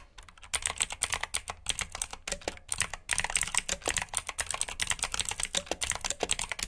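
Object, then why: Plastic mechanical keyboard. Fingertips with short nails type on a full-size black plastic mechanical keyboard with RGB backlit keycaps, clicky blue switches and hollow key housings. A rapid, uneven run of sharp, bright clicks and clacks with very short decay, pausing briefly near the start and around the three-second mark before resuming.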